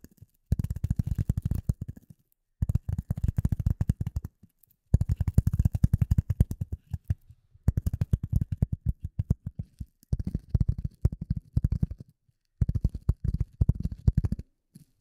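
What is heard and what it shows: A rectangular gray polyethylene foam sheet, held in front of the microphone, is tapped and scratched with the long nails of both hands. Rapid, dense bursts of short, deep, muffled taps come in six runs separated by brief pauses, with almost all the energy low and a faint bright scratching texture on top.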